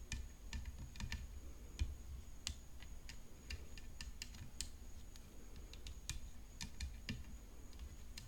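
Long nails tap the hollow composite frame of a rhinestone-decorated tennis racket resting on black cloth. Quick, light, dry clicks with bright, sharp edges fall in an irregular stream and die away almost instantly. A low rumble and a faint steady high tone sit underneath.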